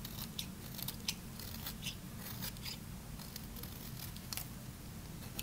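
A small metal blade shaves a solid, pale green bar of dry soap that is partly carved, sending curling flakes off as it is held. Crisp, bright scraping crunches come in quick, short strokes with almost no ring. A steady low hum runs underneath throughout.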